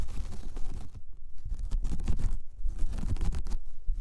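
Long painted fingernails of one hand scratch across a large, flat, solid, round braided jute/straw coaster at close range. The result is a continuous, dense, rough scratching with a heavy low rumble and brief bright rasping streaks, swelling and dipping slightly as the strokes change.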